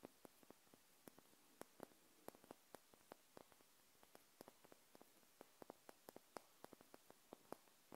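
Long nails tap and scratch a small wax-filled glass jar candle held sideways in a hand. About 21 sharp, dry clicks with almost no ring come at an uneven pace over a faint, steady hiss. The whole clip stays quiet.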